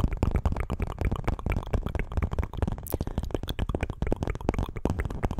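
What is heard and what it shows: A small printed paperboard milk carton, hollow with its fill not visible, is held in both hands close to a microphone and tapped and scratched with long acrylic nails. A rapid, continuous run of short, dry, hollow taps with a deep low thump comes through, mixed with soft scratching and a brief bright swish near the middle.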